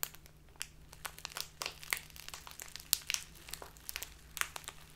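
A full, clear plastic Biotta bag of loose tea stands on a table and is rubbed and crinkled with the fingertips and long black nails, then squeezed in both hands. Bright, dry crackles and sharp crinkles pop out irregularly over a quiet background with a faint low hum.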